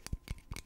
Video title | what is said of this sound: ASMR - Over Explaining A Simple Task like Lighting A Candle | this is what a lighter sounds like when you tap on it